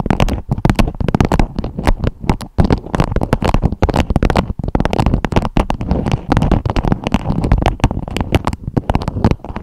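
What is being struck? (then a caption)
Beeswax-coated fabric wrap. Long acrylic nails tap and scratch a beeswax-coated fabric food wrap with a strawberry print draped over a microphone head. The result is a dense, continuous stream of muffled, crackly taps and rustles that stays deep and boomy, with very little bright content.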